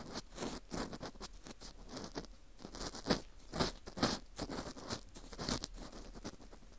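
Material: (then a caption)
Wheat gluten. An orange plastic earpick scrapes downward inside the center hole of a dry, porous slice of dried wheat gluten fu shaped like a ring. It makes a string of crisp, crunchy scraping strokes with a bright, airy texture, some sharper and louder than others, at an uneven pace. Each stroke stops dry with almost no ring.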